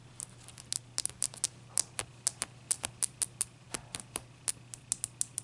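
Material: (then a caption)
Ice. Long nails tap and scratch the surface of a single wet, solid, clear ice cube resting on a towel as it melts. About 25 sharp, bright clicks with almost no ring come at an uneven pace, over a faint, steady low hum.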